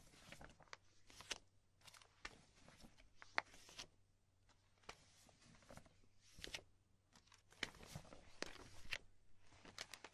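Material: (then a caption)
Polypropylene. Fingertips and long nails rub, lift and crinkle the top sheets of a stack of thin, empty, clear polypropylene binder sleeves resting on a dark cloth, with a magazine lying untouched beside it. Soft, bright plastic crackles and crinkles come in irregular bursts with short quiet gaps, over a faint steady low hum.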